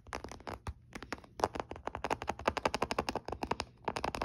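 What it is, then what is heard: Plastic handheld game console. Fingertips tap the lid and front edge of a closed olive-grey plastic Nintendo DS Lite, a small, hollow handheld game console resting on a soft blanket, with some light nail contact near the hinge. A rapid, uneven series of short, dry, hollow clicks and taps follows, each with a midrange body and very little ring. Brief quiet gaps break up the bursts.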